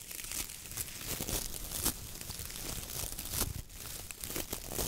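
A palm and fingers press down on, squeeze and rub the stiff bristles of a coconut fiber (coir) dish brush head with a wooden handle. The result is a steady, dry crackling and scratchy crinkling with bright edges and soft low thumps. Louder rasps rise over the continuous rustle as the pressure shifts.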